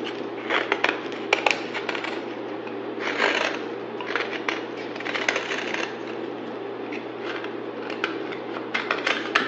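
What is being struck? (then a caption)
Bar soap. A pale green solid rectangular bar of soap, held in hand, is carved along its edge with a utility knife blade while shavings fall onto a pile. Dry, crackly scraping and shaving sounds run throughout, with sharp bright crunches and short bursts of louder scraping.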